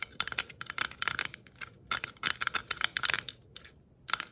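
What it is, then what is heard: Plastic Christmas bauble tapped and scratched with nails. Long acrylic nails tap and scratch a hand-sized, hollow, round glittered plastic Christmas bauble with shiny red and white glitter stripes, held in both hands. Quick bursts of crisp, bright clicks and scrapes come in uneven clusters with short pauses between. Each click is dry and dies away at once, with almost no low end.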